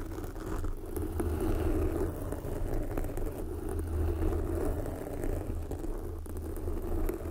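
Long glossy black fingernails on both hands scratch a soft, porous red foam windscreen covering a microphone. The result is a steady, muffled rumble with dense low-frequency texture and a soft, fuzzy scratching layer on top, with almost no bright high end.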